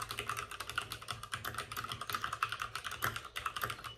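Both hands type rapidly with fingertips on the plastic keycaps of a white backlit RGB mechanical computer keyboard resting on a desk with a padded wrist rest. A dense stream of quick, bright clicks and clacks sounds with little low end, each keystroke dying away almost instantly.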